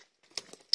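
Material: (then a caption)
Wood. Two dull taps on an old pear tree stump, rotten and about half dry after heavy pruning. Each tap is short with almost no ring, and the dull sound points to decayed wood inside.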